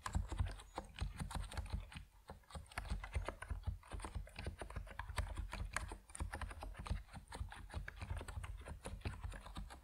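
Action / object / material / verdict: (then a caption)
tap / mechanical keyboard with PBT plastic keycaps / plastic / none. Fingertips of both hands type continuously on an Epomaker NiZ Plum Atom 68, a 68-key compact mechanical keyboard with white and purple PBT plastic keycaps resting on a wooden desk. The result is a dense, steady stream of short, dry keystrokes with a deep low-end thud and very little ring, with brief lulls between bursts.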